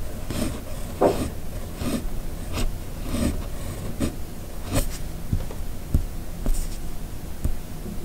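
The steel nib of a red fountain pen scratches across a flat white paper sheet in continuous cursive writing strokes. A soft, low scratching runs throughout, broken by short, brighter nib scrapes as each stroke is drawn.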